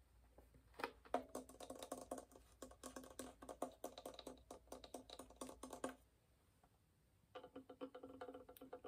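Fingernails and fingertips tap quickly on the varnished top and upper body of a hollow wooden violin. The taps give short, dry clicks with a hollow tone around 700 Hz that dies away almost at once. A steady stream of tapping runs for about five seconds, stops for just over a second, and then starts again.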